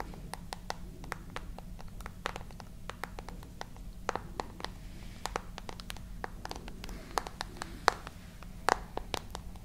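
Long nails tap and scratch across the glass screen and edges of a solid handheld glass and metal smartphone with a dark frame, held close to the mics. Dozens of sharp, bright clicks sound over a steady low hum, each dying away almost instantly, with a few louder taps standing out near the end.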